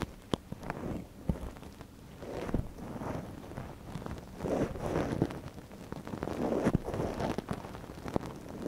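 A gloved hand pushes a wooden ear pick into the canal of a soft white silicone ear model mounted on a binaural microphone and scratches around inside. Close, muffled scraping and crackly rustling rise and fall, broken by sharp little clicks and pops.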